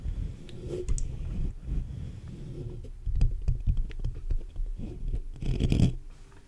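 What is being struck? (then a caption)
Metal mesh microphone grille. Fingertips and short nails scratch and tap the sides and top of a black USB condenser microphone's hollow metal mesh grille. The result is close, boomy, low-heavy rubbing and thumping, with quick short taps scattered through and faint bright scratchy flecks above.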